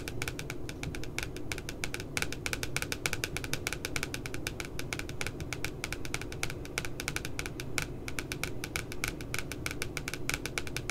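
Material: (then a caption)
Glossy paper. Long glitter nails tap quickly around the puppy's head printed on the glossy paper cover of a spiral notebook lying flat. A steady run of rapid, crisp clicks keeps going for eleven seconds, each tap bright and short with a sharp tick near 2.3 kHz. A constant low background rumble sits underneath the tapping.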